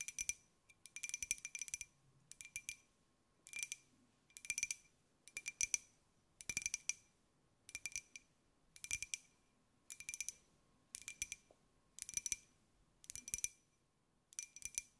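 A small, hollow, white glazed ceramic jar with a pineapple print is turned in the hands and tapped with long nails. Quick clusters of bright, clicky taps come about once a second, each dying away almost at once. The clicks sound high and glassy over a faint steady tone and near silence.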